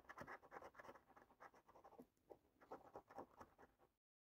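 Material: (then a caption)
Card, latex. A coin edge held in the fingers scrapes the remaining latex scratch-off coating at the top of a flat cardboard paper scratch card. Rapid, dry scraping strokes come in quick bursts with a brief quieter pause midway, then stop into silence just before the end.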